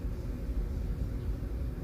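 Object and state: Nothing is struck.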